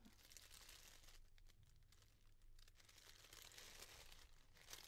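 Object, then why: Pleated tissue paper. A pleated yellow tissue paper bundle being made into a flower, its thin layers separated and pulled apart with fingers and long dark nails. Continuous soft crinkling and rustling is heard, bright and papery with a low steady hum underneath. The sound stays quiet throughout.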